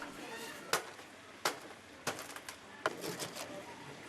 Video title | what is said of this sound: [World Theme Travel] Islands of the Wild, Lombok and Bali Part 3 | you can hear the crisp sound coming from the skin as a sign that the oil has been completely drained out